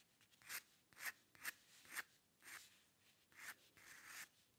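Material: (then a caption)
Paper. A metal dip pen nib on a wooden holder scratches short lines into a thin white paper sheet bearing an ink drawing, which lies flat on a dark table, with the pen staying on the paper throughout. Quiet, dry, bright scratchy strokes come at an irregular pace, centred around 2 kHz, with no low end and no ring after each stroke.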